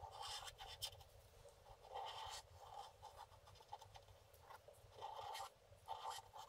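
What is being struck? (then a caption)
Scratch-art paper card scraped with a wooden stylus. A wooden stylus scratches and scrapes the black coating near the lower right of a flat scratch-art paper card lying on a table. Short, dry, bright rasping strokes come in bursts with brief pauses between them. The scratching is quiet, with a thin, gritty high texture and almost no low end.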